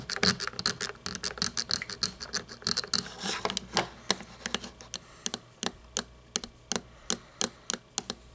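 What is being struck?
Toy monster truck of plastic with chrome parts.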